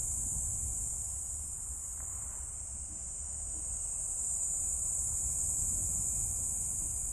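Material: Nothing is struck.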